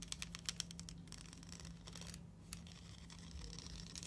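A hollow plastic rainbow slinky coil spring toy has its coils stretched, rubbed and clicked together with fingers and long nails close up. Quick, bright plastic clicks and ticks come in a rapid burst at first, then give way to softer scratchy rubbing with a few sharper clicks, over a steady low hum.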